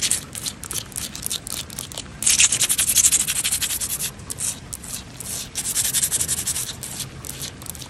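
Long painted fingernails scratch and rub across flat, solid, wet stone paving slabs with grout lines outdoors, with possible rain in the background. Bright, hissy strokes repeat rapidly, growing louder and denser in the middle before settling back into steady rasping.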